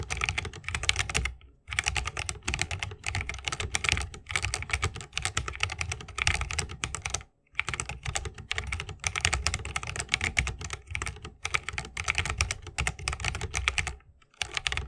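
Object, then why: Mechanical keyboard with bamboo case and plastic keycaps. Fingertips of both hands type continuously on a 60% mechanical keyboard with a bamboo case, plastic keycaps and Holy Panda switches. The result is a rapid, steady stream of short, bright clacks over a low thocking body, with brief pauses near 1.7, 7.4 and 14.2 seconds. Each keystroke dies away almost instantly.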